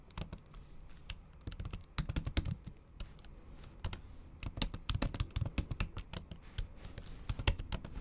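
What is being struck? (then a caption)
Laptop keyboard with silicone cover over plastic keys. Steady typing on a MacBook Pro keyboard, its plastic keys covered by a thin pink patterned silicone cover and set in an aluminium body, using the tips of long acrylic nails. The keystrokes are short, soft clicky taps with a dull low thump and bright nail ticks, fading almost instantly. They come in uneven bursts with brief pauses.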